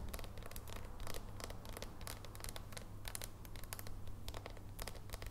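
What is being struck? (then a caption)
Dark chocolate bar tapped with fingernails. A solid dark chocolate bar is held in both hands while long nails tap and scratch across its squares. Quiet, rapid clicks and scratchy bursts sit over a steady low hum throughout, each tap dying away almost instantly.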